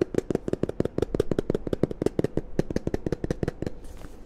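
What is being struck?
Plastic lotion pump bottle.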